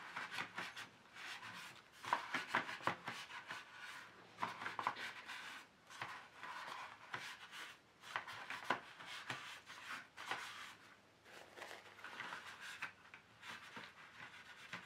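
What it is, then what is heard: Plastic paint tray insert being wiped. Fingers holding a tissue rub and wipe along the ridged slots of an empty, long, hollow black plastic paint tray insert lying flat. The result is a steady, dry scrubbing and swishing, centered in the midrange with a bright edge, broken by frequent short clicks and ticks as the tissue catches on the ridges.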